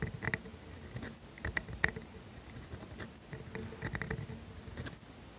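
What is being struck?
Steel dip pen nib on thin paper.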